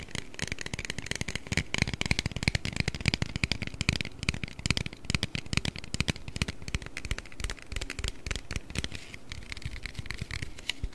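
An aluminium Red Bull can, held behind the microphone and partly hidden, is tapped and scratched with fingernails. The result is a continuous stream of rapid, crackly taps and scrapes, with dull low thumps under a bright, papery hiss. The sound stays at a steady, close level for the whole clip.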